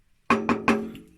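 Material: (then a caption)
Wood. Three sharp knocks on a wooden table leg found lying in the street, possibly teak, each giving a bright, ringing tone around 220 Hz that decays quickly. The leg sounds like solid wood, with an almost metallic ring.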